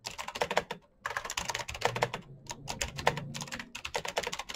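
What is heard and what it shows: Fingertips type fast on a full-size black plastic Razer mechanical keyboard with clicky green switches and RGB backlight. Sharp, bright clicks come in rapid bursts, with a brief pause near the one-second mark, and each keystroke ends with a dry, short decay.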